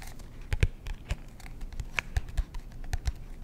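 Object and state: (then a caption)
Cardboard composition notebook. Fingertips and short nails tap and scratch the hard cardboard cover of a black-and-white marbled composition notebook held upright in both hands. A quick run of soft, dull taps with bright scratchy clicks sounds over a faint low rumble, each tap dying away almost at once.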